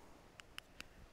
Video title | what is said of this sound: Horse Care Tip 16 stethoscopes | this has a little drum that sounds dead